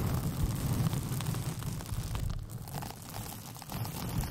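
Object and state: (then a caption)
Rolled paper sheet being scratched. Long painted fingernails scratch a hollow, empty tube made from a white paper sheet with pink polka dots, rolled over the microphone. The result is a steady, dense, boomy rumble of scratching, heavy in the low end, with faint brighter scraping on top and no clear gaps.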